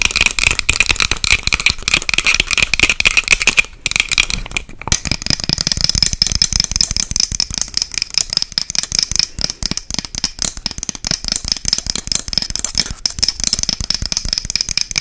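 Long acrylic nails tap and scratch fast on a small, light, hollow wooden box with a dark metal clasp and its lid closed. It makes a dense, rapid stream of dry, bright clicks and scrapes that die away almost instantly, with a bright tone near 2.5 kHz. There is a brief pause just before the five-second mark, after which the clatter resumes with an even brighter, higher edge.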